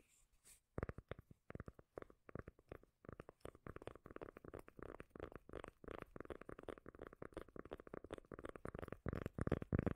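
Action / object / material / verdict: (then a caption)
tap / cork lid / cork / none. A cork lid is tapped and scratched, giving a dense run of short, deep, bassy taps with low rumbling mixed in. The taps are quick and irregular, with almost no ring after each one, and they grow somewhat louder toward the end.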